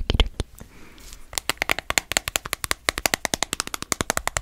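A small, cylindrical dark plastic spice jar labelled black pepper, with a screw cap and apparently filled with ground pepper, is held in one hand close up and tapped and scratched with long nails. A few quick, bright clicks are followed by a soft, dry scratching passage. Then a steady run of sharp, crisp taps continues to the end.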